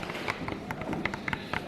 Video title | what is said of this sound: WE MADE A BELLY CAST OF SAPPHS PREGNANT BELLY | Can you hear that tap? It's gone hard.